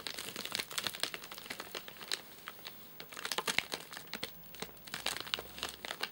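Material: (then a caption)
Plastic film. A flat, sealed white plastic/paper-laminate nougat bar package with crimped edges, full of nougat bars, is held in both hands and then set on a sofa, where fingertips tap and scratch its top surface. Bright, dry crinkling and crackling comes in dense, quick bursts with almost no low end, pausing briefly in the middle before the taps and scratches pick up again.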